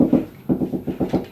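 Seven quick knocks on a plasterboard wall over a stud, each a short, dull, low-mid thud with little ring. The solid sound shows a stud behind this spot, unlike a hollow section of the wall.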